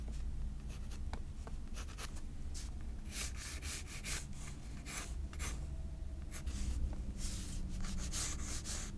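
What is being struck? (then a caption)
Graphite pencil on sketchbook paper. A graphite pencil held in the fingers scratches light sketch lines across a white paper page of a spiral-bound sketchbook resting on a table. Soft, dry scratching strokes come in short bright bursts over a steady low hum.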